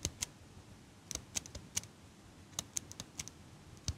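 A small metal eyelash curler, held in front of the mic, has its handles squeezed and clicked by a hand with long pink nails. About fourteen short, crisp, high metallic clicks sound at uneven intervals, each dying away almost instantly over a faint low hiss.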